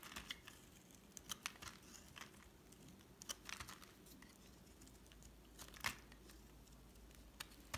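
A solid white bar of soap, held in the hand, is carved into curls with a metal utility knife blade. Short, bright scraping and crackling cuts pop out over a quiet, steady low background, each stroke dying away almost at once.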